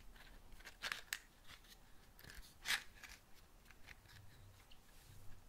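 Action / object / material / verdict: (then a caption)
scrape / cardboard matchbox / cardboard / none. A small patterned cardboard matchbox is moved around close to the mic while being tapped and scratched with long nails. Quiet, dry scratching and light taps are broken by a few sharp, bright clicks, with the loudest burst coming near the middle.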